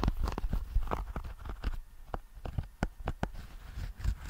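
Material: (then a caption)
Fabric. Fingertips and nails gently tap and scratch the fabric face of a small, rigid, hollow nail clipper case covered in grey herringbone tweed, held upright behind the mic. The result is a quick run of soft, dull, low taps with brief papery scratches between them, each dying away almost at once.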